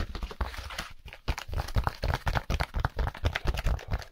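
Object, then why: Styrofoam packaging insert. Gloved fingers rub and tap along the edge and face of a white styrofoam packaging insert, a solid foam slab. The result is a fast, irregular run of dry, crunchy squeaks and scratches over dull low thumps, with each sound stopping short and not ringing on.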